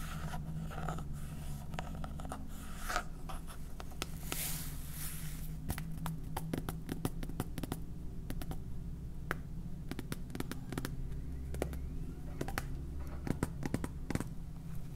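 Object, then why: Plastic salt container. A clear 750 g plastic salt jar, hollow and full of white salt, with a red plastic cap and a blue label, is tapped and scratched with painted fingernails. Quick, dry clicks and scratchy strokes sound over a steady low hum, with brief brighter rustles in the first few seconds.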